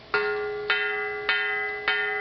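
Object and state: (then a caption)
Uncracked cast iron skillet. A large vintage Griswold Erie cast iron skillet is struck four times for a ring test. Each strike gives a bright, bell-like ring with steady high overtones that sustain until the next hit. The clear, lasting tone marks the skillet as uncracked.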